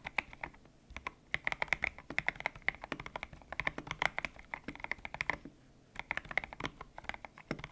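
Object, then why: Mechanical keyboard with PBT plastic keycaps. Fingertips type on a white-cased mechanical keyboard with grey and pink PBT plastic keycaps, its hollow case resting on a desk mat. Quick bursts of short, bright, clacky keystrokes carry a hollow tone around 2.1 kHz and die away almost instantly. The typing breaks off in brief pauses near 1 second and again around 5.5 to 6 seconds.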